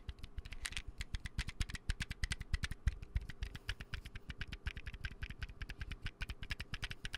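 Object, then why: Plastic bottle with lid. A small, hollow white plastic bottle and its round lid are tapped quickly with fingertips and nails close to the mic. A fast, steady run of dry, clicky taps is heard, each with a dull low thump and sharp nail ticks on top. Each tap dies away almost instantly, with no ring.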